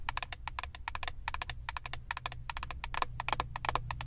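Long acrylic nails tap rapidly on the clear plastic lid of a flat eyeshadow palette, making a quick run of short, dry clicks with no ring and a bright top. A steady low hum sits underneath the taps throughout.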